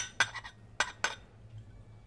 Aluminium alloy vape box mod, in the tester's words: vous l'entendez, très légère. Elle est en alliage d'aluminium.